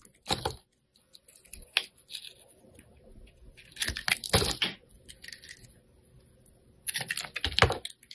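A black-handled metal blade scrapes and shaves the surface of a hand-held, hand-sized solid yellow oval soap bar with a rainbow glitter rim. Short, crisp, bright scratching strokes come in bursts with quiet gaps between them. Each stroke has a dry, crackly texture and stops quickly with almost no ring.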